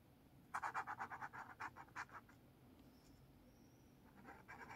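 A blue felt-tip marker held in the fingers is drawn across the page of a lined paper spiral notepad lying open on a table, scratching the paper. A quick run of about a dozen short, bright scratchy strokes is followed by a quiet pause, then a few softer strokes return at the end.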